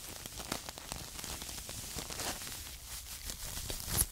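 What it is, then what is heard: Paper tea bags, crinkled. Two small filled paper tea bags held in the fingers are scratched and crinkled with long acrylic nails. The result is a soft, dry, continuous crackling rustle with bright, papery texture and brief sharper scratches, rising to a louder crinkle at the end.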